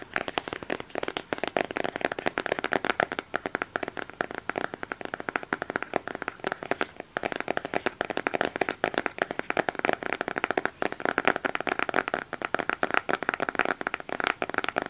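Fingertips and nails rapidly tap and scratch the printed front cover of a closed, flat black cardboard eyeshadow palette case held up close. The result is a dense, steady stream of short, dry clicks and light scratching, centered in the midrange around 770 Hz with very little low end.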